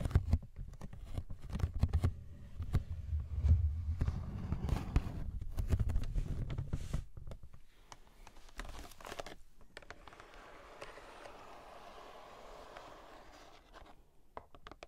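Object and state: Cardboard box tapped and scratched.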